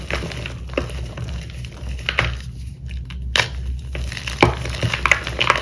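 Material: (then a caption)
Chalk. Bare fingers and palms break sheets of dried corn starch paste crust off a pale purple dyed gym chalk block (magnesium carbonate) and crush the solid, brittle chunks into powder in a white bowl. Sharp, bright snaps and crisp crunches arrive at an irregular pace over a steady low hum. Softer crumbling rustles fill the gaps between them.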